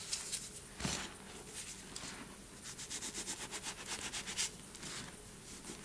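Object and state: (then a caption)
Cornstarch and gym chalk powder. A hand scoops loose white cornstarch and gym chalk powder from a bowl, letting it sift and pour through the fingers and rubbing the fingers through the powder. The sound is a soft, bright, crackly hiss with a faint low rumble. It has a sharp squeak near the start and a run of quick rhythmic pulses in the middle.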